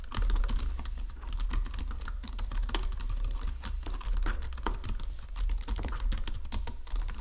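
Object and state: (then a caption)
Plastic computer keyboard. Fingertips with painted nails type across a full-size white and silver plastic Logitech keyboard with low-profile keys resting on a marble desk. A rapid, continuous stream of light plastic key clicks and taps rides over a steady low rumble. The typing stays even and unbroken throughout.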